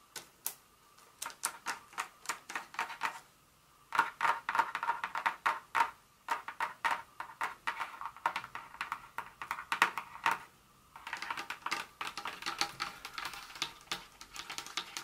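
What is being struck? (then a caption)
Milk chocolate bar in a paper wrapper. Long nails tap and scratch the paper wrapper of a solid Hershey's milk chocolate bar lying flat on a carpet. Bursts of quick, crisp, irregular clicks with a papery, midrange tone around 1.1 kHz and a bright edge are heard, separated by brief pauses near 3.5, 6 and 11 seconds. Each tap is dry and dies away almost instantly.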